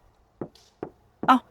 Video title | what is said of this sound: EP:37 Coffee war (EP2) | อันนี้นิ่มเว้ยอันนี้ไม่ใช่เหล็กว่ะ